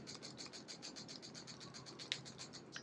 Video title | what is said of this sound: SIG P365 AXG LEGION 1000 ROUNDS LATER - IS IT ANY GOOD? | shake this gun around and hear that rattling sound but at the end of the day like I said it's not really affecting reliability